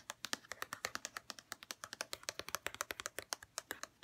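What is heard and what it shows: Long red-painted nails tap and scratch a white plastic St. Ives lotion bottle in a fast, steady run of about 33 crisp clicks. Each tap is short, dry and bright, with a hollow plastic tone around 1.3 kHz and almost no low end or ring.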